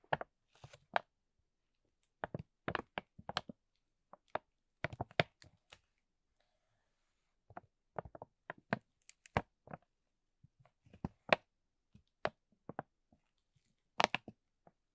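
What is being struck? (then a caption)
Laminated aluminium foil spout pouch. Fingertips with short nails rub and scratch the surface of a flat, empty silver laminated aluminum foil spout pouch with a white plastic spout cap, lying on bubble wrap. The foil crinkles in short, sharp, bright bursts separated by brief pauses, each dying away almost instantly.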